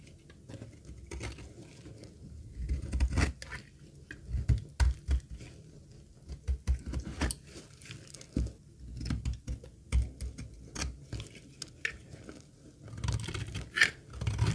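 A metal utility blade scrapes a dry, solid green laundry soap bar held over a pile of shavings, giving short, dry crunching and crinkling scrapes in uneven bursts. The sound is mostly low and dull with brief brighter flecks as shavings break away, and each scrape stops almost instantly with no ring.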